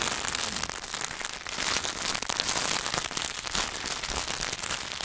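Fingertips tap and scratch quickly on a solid Hershey's milk chocolate bar in its paper and foil wrapper. The result is a dense, bright, continuous crackle of sharp ticks and rustles with almost no low end, steady in level throughout.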